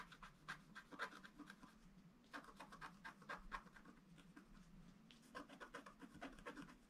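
A wooden stylus scratches the lower edge of a flat black, wax-coated scratch art sheet. Short, dry scraping strokes come in three quick bursts, each with a bright, papery rasp centred around 1 kHz. Between bursts there is a steady low hum, and the strokes stop dead with no ring.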